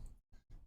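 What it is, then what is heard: Masonry block wall tap test (grout check). A concrete masonry block wall is tap-tested to check whether a cell was grouted. The taps are quiet, dull, low thuds with almost all their energy below 200 Hz and a very short ring. No difference between grouted and ungrouted is evident.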